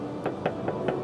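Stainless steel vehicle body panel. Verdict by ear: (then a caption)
Solid. Four sharp knocks on the stainless steel exoskeleton body panel of a Tesla Cybertruck, each giving a hard, bright ringing "ttang" rather than a hollow thud, with a tone near 500 Hz and a little ring-out. The hard ring is taken to show that the stainless steel panel is very hard, unlike the thin body panels of an ordinary car.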